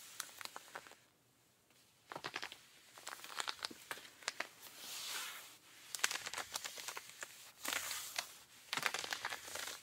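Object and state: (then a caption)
Denim jeans scratched. Pink rubber-gloved fingertips scratch and rub the thigh and back of worn, blue, ripped cotton denim jeans, soft fabric worn over the leg. Bursts of quick, bright, crackly scratches alternate with smoother swishing rubs and short near-silent pauses. The sound is dry and crinkly, with no low end and almost no ring after each stroke.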